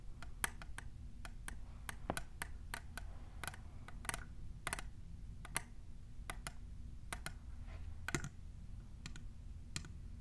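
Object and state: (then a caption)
Plastic tumbler cup. Long nails with plastic clip extensions tap and scratch the side of a tall, hollow, clear printed plastic tumbler. Quick, sharp, bright clicks ring out in an irregular stream over a steady low hum, with faint scratching between the taps.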